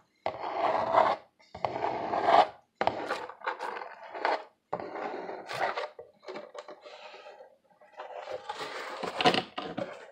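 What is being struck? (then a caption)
Corrugated cardboard box. Fingers scratch the ribbed face of a hollow corrugated cardboard box that is held up and tilted. Dry, rasping scrapes come in uneven bursts separated by short pauses, with a papery midrange body and bright, hissy edges.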